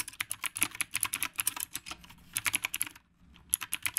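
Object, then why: Mechanical keyboard with round plastic keycaps. Both hands type fast with their fingertips on a dark, retro typewriter-style mechanical keyboard with round plastic keycaps and a solid frame, with a phone resting on its stand. Rapid, bright, crisp key clicks with very short decay come in quick bursts, with a brief pause near the three-second mark before typing resumes.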